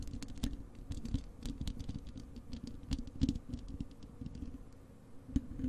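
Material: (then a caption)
Metal mesh. Long acrylic nails on both hands scratch and tap the bare, hollow wire-mesh metal grille of a large desktop microphone. The result is a dense, uneven patter of quick scratchy clicks with a boomy low-end thump and bright, crisp ticks on top. It keeps going steadily at a soft level.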